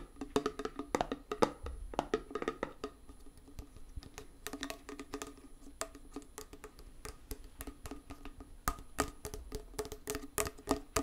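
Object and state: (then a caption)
Small metal tin. A small, round, closed metal tin of hand putty with a printed label is tapped with fingernails on its lid and edge while held close. Rapid, irregular bursts of short, dry clicks and taps have a hollow tone around 500 Hz and bright edges. Each tap dies away almost instantly.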